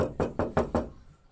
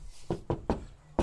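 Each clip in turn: First: Five quick knocks on a bare steel car door, each a boomy, hollow thud that dies away fast. Second: Four short, dull knocks with no ring: a car door panel with deadening mat sounds solid.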